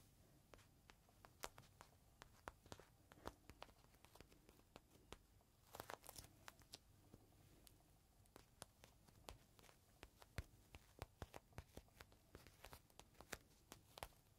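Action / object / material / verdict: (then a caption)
tap / plastic bag holding a folded microfiber cloth / plastic / none. A small clear plastic bag holding a folded green microfiber cloth rests flat on a palm while fingertips tap and scratch the plastic surface. Many quick, sharp crinkly taps and scratches sound over a quiet, steady background, with a brief denser rustle around the middle. Each tap is bright and dies away almost instantly.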